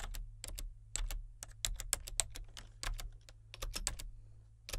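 Fingertips type on the main keys and number pad of a solid, full-size plastic membrane computer keyboard with a colour-changing backlight. A quick run of short, bright, dry key clicks dies away almost instantly, over a steady low hum.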